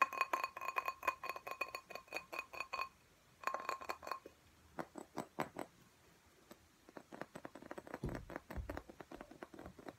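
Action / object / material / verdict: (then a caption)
tap / glass plant pot with soil / glass / none. Fingernails tap fast on a soil-filled glass cactus pot held in both hands, producing rapid bursts of sharp clinks with a short ringing tone around 1 kHz. After a brief pause, the tapping resumes in quicker flurries, then turns sparser, duller and softer, with a couple of low thumps near the end.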